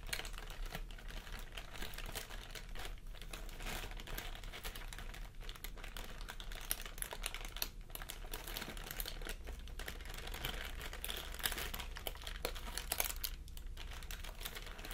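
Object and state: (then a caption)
Plastic air cushion packaging bag. A clear, thin, air-filled plastic packaging air pillow with printed text is held in both hands and squeezed and crinkled with the fingers and short nails. The result is a steady stream of dense, bright crackling and rustling with a low hum underneath, lasting the whole clip.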